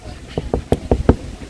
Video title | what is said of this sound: O IMPÉRIO ROMANO VOLTOU EM 2022! Festa dos Povos Aqvae Flaviae | é muito bem feito porque é de plástico. Te dá uma batidinha ali de plástico.